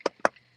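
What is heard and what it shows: Two quick taps on a weight vest worn during fasted cardio, showing there really are weight plates inside it. Each gives a short, dull knock with a mid-range tone that dies away almost at once.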